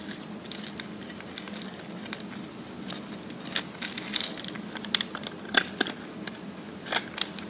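A metal blade with a textured grip shaves and scrapes the surface of a dry, solid pink bar of soap held in the palm, and flakes fall off. The scraping comes through as bright, crisp crackles and irregular sharp ticks over a faint low hum, growing a little denser in the second half.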